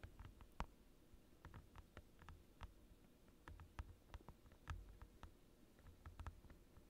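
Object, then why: Thin plastic desk mat. Fingertips and short nails on both hands tap a clear plastic desk mat, a thin transparent glossy plastic sheet lying on a desk. The quiet, irregular taps are short, crisp clicks with almost no ring, over a steady low rumble.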